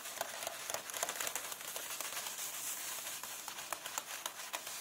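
Both hands with long painted nails rub and scratch across the paper pages of a large open paperback illustrated book lying flat, staying on the same spread. A continuous dry, bright scratching and crinkling is heard, with no low end and frequent short, sharp nail scrapes standing out above the steady rustle.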